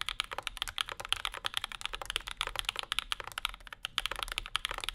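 A compact Bauer 2 mechanical keyboard with Zykos switches, an aluminum plate and maroon and cream plastic keycaps is typed on continuously with the fingertips of both hands. Dense, rapid, sharp clicky-clacky keystrokes with very short decay are heard, bright and centered around 3.3 kHz with little low end.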